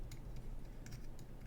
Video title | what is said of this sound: ASMR- Trinkets Galore 🌻🔮🍯 Whispered, Tapping | The Legos make great noises.